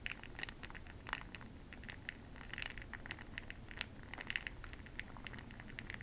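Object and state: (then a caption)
Glass jar of bronzing pearls being stirred. A makeup brush stirs a small clear glass cup full of bronze makeup pearl beads held in the hand, giving a soft, rattling patter of quick, bright clicks that ring around 2 kHz. The clicks come in irregular clusters over a quiet, steady low rumble for the whole clip, with each click dying away almost instantly.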